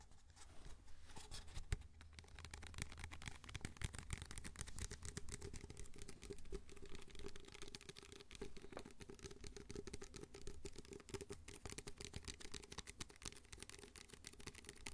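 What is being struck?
Disposable paper cup.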